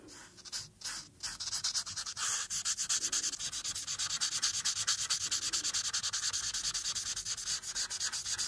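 A hand moves a marker in steady, rapid rubbing strokes over a thin printed paper coloring page lying flat, coloring in its blue background. Each stroke makes a dry, bright, scratchy hiss, and the strokes repeat in a quick, continuous rhythm with almost no low end.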